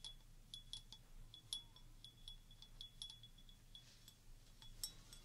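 Fingertips and long nails tap the bowl of a clear stemmed wine glass, partly filled with water and held in one hand, in a quick, uneven series of light taps. Each tap gives a short, bright, chime-like ping near 3.4 kHz that fades almost at once, over a soft low rumble.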